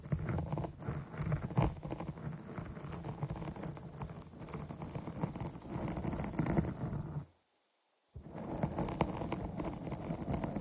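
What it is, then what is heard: Foam microphone windscreen scratched and tapped. Long nails scratch and tap quickly across the top of a dark foam microphone cover, producing a dense, muffled patter with a deep, rumbling low end. The scratching drops to near silence for about a second, then resumes at the same pace.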